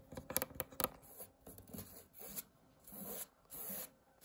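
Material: Woven fabric.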